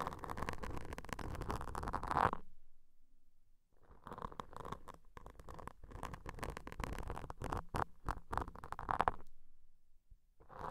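Wooden toothpicks held in long-nailed fingers scratch, poke and scrape two identical soft, porous black foam microphone covers. Dense, muffled scratching and rustling comes in bursts with a rumbly low end, broken by near-silent pauses around the third and tenth seconds.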